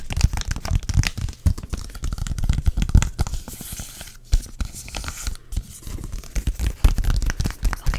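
A thin, flat yellow printed foil/plastic "Help me Honey" sheet mask packet, held in both hands, is scratched and tapped with long dark acrylic nails. The result is a steady run of quick, dry crinkling and scratching, broken by short, dull taps heavy in the low end, with a few brief quieter gaps.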